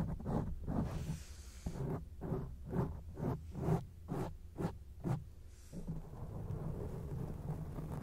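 Long acrylic nails scratch a round grey foam windscreen on a microphone, giving a run of quick, deep, rumbling scrape bursts at a brisk, uneven pace. The bursts then give way to a steady, softer low rustle.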